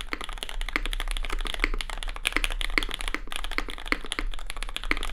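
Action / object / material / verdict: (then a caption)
tap / mechanical keyboard with plastic keycaps and aluminium plate / plastic / none. Both hands type continuously with the fingertips on a compact red Cloudline custom mechanical keyboard with lubed SP Star Sacramento switches, plastic keycaps and an aluminium plate. The result is a dense stream of short, sharp clacks bright around 2 kHz, over a steady low hum.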